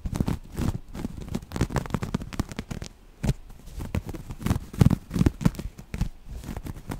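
Long nails scratch the grid texture of a folded grey waffle-weave cotton fabric. The result is dense, close-up crackly scratching, mostly low and muffled, in rapid uneven bursts with short pauses.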